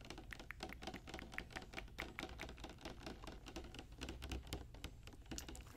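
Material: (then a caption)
Plastic. Long, dark-painted fingernails tap rapidly on a tall, clear plastic Barbie Color Reveal tube with a pink plastic cap, held in the hand and containing a doll in pink opaque liquid or foam. The taps are quick, dry clicks that sound like typing on a keyboard, with a bright snap and a soft low thud underneath. Each click dies away almost instantly.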